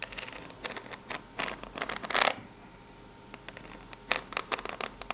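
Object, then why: Corrugated cardboard box. Long pink nails scratch the ribbed side of a small corrugated cardboard box. The result is dry, bright, raspy scratching in quick bursts, with the loudest stroke just past two seconds, then a quieter stretch before another run of short, sharp scrapes. There is almost no low end and no ring after each stroke.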